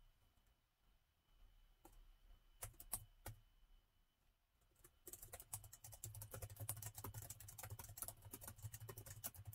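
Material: Plastic.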